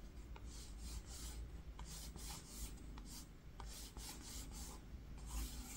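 A single fingertip traces and rubs letters across the woven surface of a flat green linen fabric-covered book cover resting on pink fur. Soft, scratchy rubbing strokes come in repeated bright, hissy swishes over a steady low rumble.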